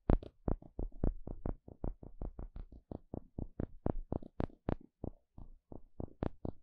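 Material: Wood.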